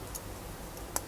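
A nephrite jade stone in a metal jewellery setting is shaken close up, giving two small, sharp ticks against a quiet background, the second much louder. The clicks show the stone is slightly loose and not perfectly tight, though it will not come off, so the setting needs to be pushed further.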